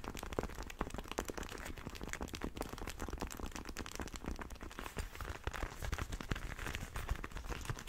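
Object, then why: Leather motorcycle glove with hard knuckle armour. Fingertips and nails rub and scratch an empty, hollow black and red leather motorcycle glove with hard knuckle armour, held in both hands. A dense, continuous run of soft crinkling scrapes and sharp little ticks follows, with a low, muffled handling rumble underneath.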